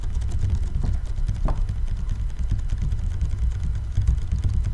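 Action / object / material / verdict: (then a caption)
tap / large plastic water bottle, partly filled with water / plastic / none. Fingertips and nails tap the sides of a large 5-litre ribbed clear PET bottle with a blue cap, partly filled with water and held sideways close to the mic. The taps come as a rapid, steady stream of soft, deep, muffled thumps with a low boom and almost no bright edge, each dying away instantly.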